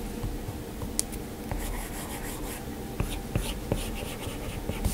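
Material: Glass.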